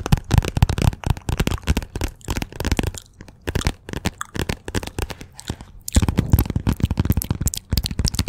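Long nails tap fast and hard on the glossy cover of a "Persepolis" paperback held behind the microphone. The taps are dense, dull and low-heavy. They ease to a quieter patch in the middle, then pick back up strongly toward the end.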